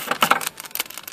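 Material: Metal.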